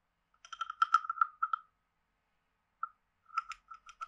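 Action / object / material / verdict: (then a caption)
scrape / carved wooden frog guiro scraped with a wooden stick / wood / none. A wooden stick is scraped along the ridged back of a hand-sized, hollow, carved wooden frog guiro. It makes quick, ratchety, croak-like clicks with a hollow tone around 1.3 kHz and bright overtones. A burst of rapid scrapes is followed by a pause, a single short rasp, and then another short run of scrapes.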